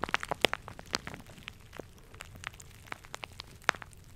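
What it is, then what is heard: Plastic shower cap. A plastic shower cap with a red polka-dot print is squeezed, rubbed and crumpled between fingers close to the mic. It gives off a fast run of sharp, bright crinkles and crackles with quiet rustling between them.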